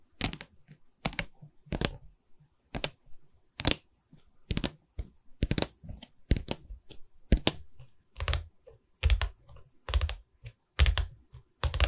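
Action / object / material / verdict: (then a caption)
tap / wooden canvas board / wood / none. Tapping on a wooden canvas board, heard as irregular groups of short, dry, knocking taps that fade almost at once. The taps carry a dull low thump beneath a brighter click.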